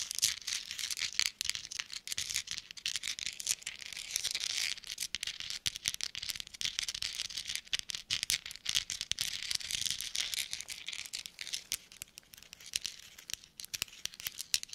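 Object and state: Metal thimbles.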